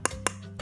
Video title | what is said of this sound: PCB Power M500 Super Clarity - Istimewa | kalau kita pukul-pukul seperti ini tuh dia bunyinya beda ya sama PCP yang biasa jadi tok tok tok seperti itu karena dia keras